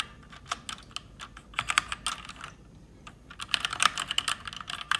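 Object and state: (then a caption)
Plastic mechanical keyboard. Fast typing with fingertips and long red nails on an RGB-backlit plastic mechanical keyboard with plastic keycaps. Bright, crisp key clicks come in irregular bursts, with a brief pause in the middle before a denser, louder flurry. Each click is short and dry, with almost no low end.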